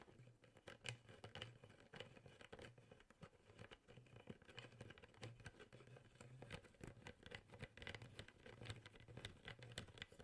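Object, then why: Plastic drinking bottle with plastic sport cap. The yellow-green plastic sport cap on a clear, hollow, mostly empty plastic drinking bottle is tapped and flicked repeatedly by the fingertips of one hand while the other hand holds the bottle. The result is a quick, uneven patter of short, dry plastic clicks with bright edges, over a low, pulsing hum.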